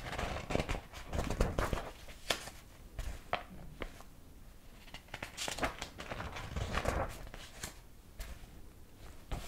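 Fingertips turn the yellowed paper pages, some illustrated, of a large old hardcover book with a dark cover. Quiet, steady paper rubbing and crisp flaps come in bursts, with soft low thumps as pages settle.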